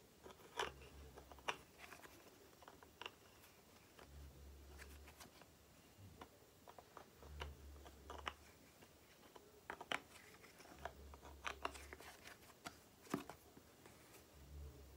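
Long nails tap the green cap and body of a small plastic cream tube, producing quiet, dry, bright clicks in irregular bursts. Each tap dies away almost instantly, and a low hum rises and fades in short stretches underneath.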